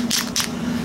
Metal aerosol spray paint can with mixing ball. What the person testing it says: you can hear it hitting that thick stuff in the bottom